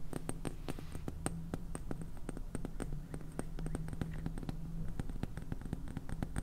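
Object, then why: Small plastic jar of salt with plastic lid. Painted fingernails tap and scratch the purple plastic lid and sides of a small clear plastic jar filled with white salt. Quick, sharp, bright clicks come in a steady stream with short scratchy strokes between them. A low, steady hum sits underneath throughout.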